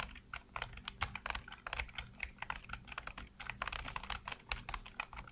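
Fingertips type rapidly across a full-size black plastic computer keyboard with hollow keycaps. A steady stream of quick, hollow plastic clacks with bright, dry attacks that stop short. A faint low hum sits underneath.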